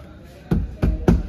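Three dull, low knocks on the steel body panel of an Eeco campervan fitted with sound-damping sheet from back to front and in the doors. Each knock is a short, deep thud that dies away almost at once, with no tinny ring, showing the panel is well damped.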